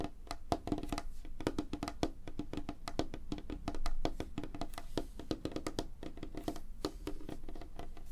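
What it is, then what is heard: Light wooden tabletop. Fingertips and short nails tap rapidly on a flat, solid, light wooden tabletop, the hands moving across the surface. It makes a dense run of quick, dry, woody clicks with a tonal knock around 690 Hz that dies away almost instantly, with a slightly louder cluster near the middle.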